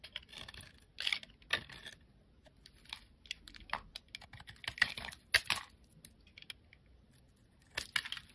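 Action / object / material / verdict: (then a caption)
scrape / glycerin soap bar and metal blade / glycerin soap / none. A metal craft blade scrapes and carves thin curls and cubes off a solid, palm-sized, amber translucent glycerin soap bar held in one hand, with shavings piling up around it. Short, crisp, bright scraping and clicking bursts come in irregular clusters, separated by near-silence. The sound is quiet and dry, with almost no low end.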